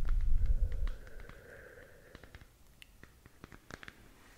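Long nails scratch and tap the textured surface of a glowing, hollow plastic galaxy moon lamp, about 15 cm across, held in one hand. A low, muffled rumble in the first second gives way to soft scratching with a faint hum. Then come scattered, quiet, sharp taps that die away almost instantly.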